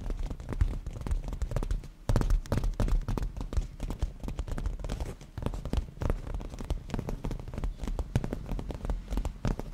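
Black-painted natural nails of both hands tap and scratch a padded black grained leather cushion, making a dense, continuous stream of quick soft taps and scuffs. The sound is dull and heavy in the low end, and each tap dies away almost at once, with a brief dip in activity near the two-second mark.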